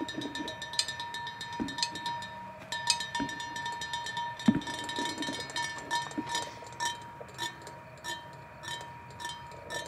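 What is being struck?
Painted metal tube.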